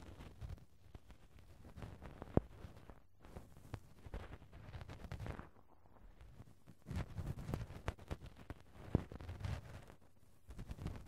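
A cotton swab gently rubs and brushes the small round metal mesh grille over the hollow right-hand microphone capsule of a Tascam handheld recorder. The contact makes a quiet, muffled, low scratching and rustling, with brief pauses and a few sharper taps standing out.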